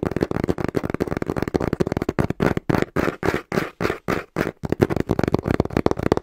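A small, hollow brown cardboard box, held upright in both hands, is tapped rapidly and rhythmically with the fingertips. The result is a fast run of dull, hollow thumps with a papery, boxy tone in the low mids. Each tap dies away almost instantly and carries little bright content.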